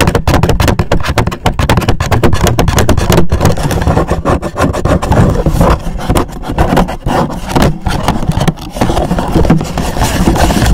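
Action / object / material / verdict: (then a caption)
scrape / rigid cardboard gift box / cardboard / none. Fingertips and nails scratch and tap fast on an upright, hollow black rigid cardboard gift box with a gold logo. The result is a dense, continuous stream of rough scratching and quick taps with a deep, hollow low-end boom and very little brightness.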